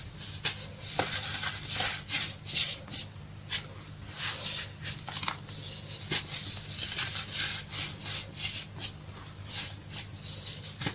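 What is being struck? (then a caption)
Pile of baking soda powder. Bare fingertips and palms rub, squeeze and dig through a large loose pile of crushed green-dyed baking soda powder on a dark tray, crushing its clumps. Each squeeze gives a bright, crisp crunching and scratchy rustle in irregular bursts, over a faint steady low hum.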